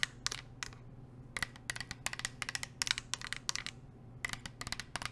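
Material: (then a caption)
Painted steel. A medium navy blue painted metal water bottle, hollow and insulated (likely stainless steel), is held in one hand and tapped with long nails wearing metal nail rings. About eighteen quick, bright, clicky taps land in irregular clusters, each dying away almost instantly. A faint low hum sits underneath throughout.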